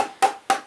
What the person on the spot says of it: this is a hollow stock